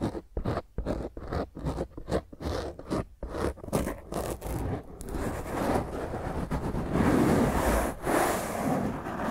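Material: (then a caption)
Foam. A black foam microphone windscreen is scratched with long nails, first held in both hands and then with one hand resting on top. For the first five seconds, short, separated rough scratching strokes come in a quick, uneven rhythm. The sound then turns into a steadier, louder, continuous rustling scrape.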